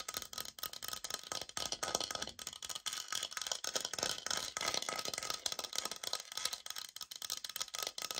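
Long acrylic nails scratch and tap the face of a flat brown laminate flooring sample, a solid board roughly 30 cm long held upright in both hands. A dense, continuous run of quick, bright clicks and dry scratching carries on for about eight seconds, with almost no low end and each tap dying away instantly.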